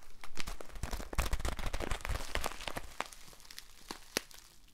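A small white paper bag, apparently empty or lightly filled, is held in both hands and crinkled and handled with the fingertips. Dense, irregular crinkles and sharp crackles with soft low thumps come quickly at first, then thin out and grow quieter, with one sharp, bright crackle near the end.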